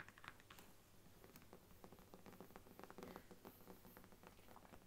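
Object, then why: Faux leather covered book. Long nails tap and scratch across the cover and edge of a large brown faux leather Bible lying flat. The result is a quiet, steady patter of soft, quick taps and brushing scratches, with brief brighter clicks over a low hum.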